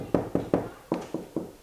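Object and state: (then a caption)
Hollow core door. Six knocks on a new hollow core interior door, hard on the outside and hollow in the middle, each a short, dull thud centered in the low midrange around 280 Hz. The knocks sound hollow, as expected for this kind of door.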